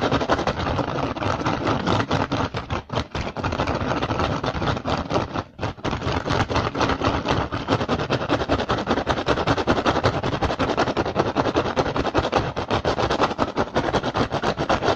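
A hollow woven rattan basket with a visible handle tie is scratched and tapped fast by the fingertips of both hands. The result is a dense, continuous crackle of quick dry taps and rough scratching with a bright, papery texture. It pauses briefly around 3 and 5.5 seconds before carrying on at a steady, busy pace.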